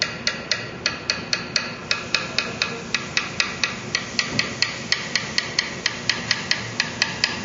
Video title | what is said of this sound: Parker Fly - How To Do A Fret Repair | the notes changing in in tone but it's still kind of bright